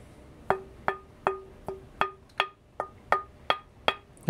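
A dense cocobolo or leopardwood fingerboard blank is tapped eleven times in a steady rhythm for comparison, each tap giving a short, bright, glassy knock with a quick decay. Its tap tone is similar to the other blank's but slightly different in pitch, and this blank is the preferred one.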